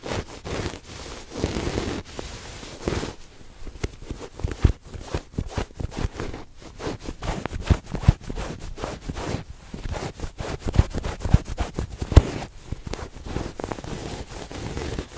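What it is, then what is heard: Fabric throw pillow. A soft, stuffed red patterned fabric throw pillow is held in both hands while fingertips and nails scratch and rub its woven cover. The result is a steady, dull rustling and scratching texture with quick, muffled scrapes, weighted toward low tones with very little brightness.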